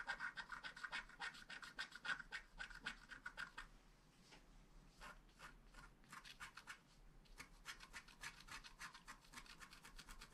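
A wooden stylus rubs and scratches the coating of a flat black scratch art card (wax-coated paper) near the flowers. Quick, bright scratchy strokes come in a fast, uneven rhythm, with a thin squeaky tone in the first few seconds. The strokes thin out and soften in the middle, then pick back up steadily to the end.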